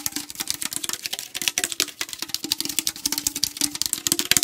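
A fingernail taps quickly and hard on the back label side of a tall aluminum tea can held at an angle. It makes a dense, uneven run of bright, dry clicks with a faint low hollow tone beneath. Each tap dies away almost instantly.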